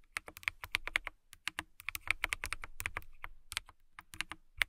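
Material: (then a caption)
Plastic. Long-nailed fingertips type on a clear plastic mechanical keyboard with transparent keycaps, producing a rapid run of bright, crisp clicks and taps with a slight low thud under each press. The keystrokes come in quick, uneven bursts with brief pauses, each click dying away almost instantly.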